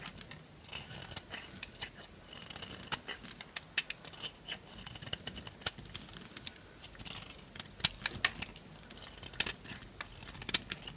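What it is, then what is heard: Dry bar soap. A solid orange bar of dry soap held in the palm is carved with a small knife, raising shavings. Many short, dry, crunchy scrapes and cuts crackle in quick succession, bright and crisp with almost no low end and no ring.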